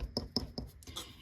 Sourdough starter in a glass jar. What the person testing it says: it sounds Hollow at the bottom so that's a good sign that the starter is active